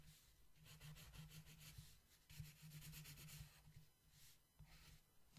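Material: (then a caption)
Paper. A long yellow wooden colored pencil scratches and rubs across a flat paper coloring book page while a mandala is being colored. Soft, dry scratchy strokes come in bursts with bright hiss over a low steady hum.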